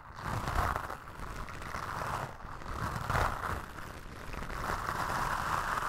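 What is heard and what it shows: Toothbrush bristles are brushed and scratched across a black foam windscreen on a microphone, producing a steady, close, rough scratching hiss with a midrange emphasis and a low rumble beneath. The sound swells and eases in slow strokes without clear breaks.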